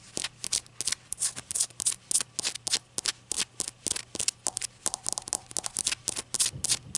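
Long acrylic nails tap a small hollow ceramic shot glass with a glossy glaze and an unglazed white base. A quick, uneven run of light, crisp clicks follows, each bright and very short with almost no ring and barely any low end.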